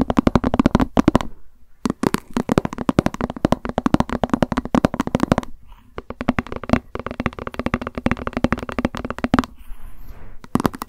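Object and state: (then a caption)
Plastic lunch box, tapped with nails. Long nails tap and scratch the side of a hollow white plastic lunch box with a cat print, held upright. Rapid bursts of fast, crisp taps carry a hollow tone, broken by brief pauses and softer scratchy passages.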